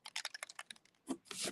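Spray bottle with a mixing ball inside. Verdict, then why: Loose. An oxide spray bottle, with pigment settled on the bottom and a mixing ball inside, is shaken side to side like a bell. A quick series of sharp, bright rattling clicks gives way to two louder, fuller swells as the ball moves. The ball can be heard rattling freely, showing the pigment has been loosened and mixed.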